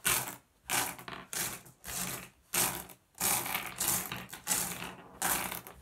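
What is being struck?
Small flat glass gems on a wooden surface.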